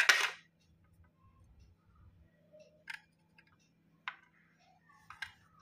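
A steel knife blade scrapes and shaves a solid, fist-sized chunk of soft white slate (chalky clay-stone) held over a ceramic plate covered in white powder, shedding powder as it goes. A loud, bright raspy scrape opens the clip, followed by three shorter, quieter crisp scraping strokes over a faint steady low hum.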